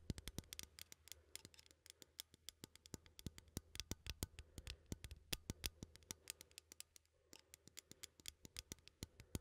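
A small cylindrical metal coffee tin is held in one hand while its ribbed side is scratched with fingernails. The result is a rapid, uneven series of sharp, bright clicks and scrapes that die away almost instantly, over a steady low hum.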